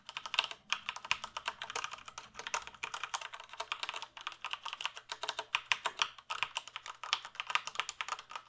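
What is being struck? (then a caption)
Plastic computer keyboard. Fingertips type steadily on a full-size black plastic computer keyboard held at an angle. The result is a quick, continuous stream of short, crisp plastic key clicks, bright and centered around 2.5 kHz, with almost no low end. Each keystroke dies away almost instantly, with brief pauses between bursts of typing.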